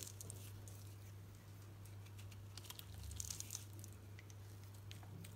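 A solid green painted Dalan soap bar, held in the hand, has its surface shaved and cut into curls with a utility knife blade. Soft, dry crinkling and scraping ticks sound over a steady low hum, growing slightly brighter and busier toward the middle of the clip.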